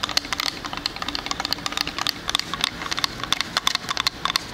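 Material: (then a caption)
Wood. Fingernails tap and scratch a small square wooden "Sleigh bells ring" wall sign, with a plank face and frame, close to the mic. The result is a rapid, irregular run of sharp, dry clicks and light scrapes. The sound is bright and thin, centered around 3.5 kHz with almost no low end, and each tick dies away instantly.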